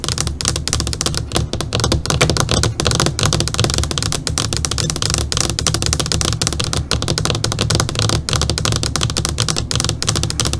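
Long, pointed, polished fingernails rapidly tap and drum their tips on the large flat black screen of an LCD computer monitor lying face up. The result is a dense, continuous stream of crisp, bright clicking taps that stop short, over a steady low hum.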